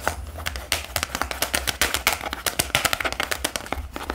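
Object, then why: Hardcover notebook with cardboard cover. Fingertips tap and scratch across a dark hardcover notebook with an elastic band, making about thirty quick, dry taps over a bright, scratchy rustle. Each tap is short and crisp, dies away almost at once, and sits over a faint low hum.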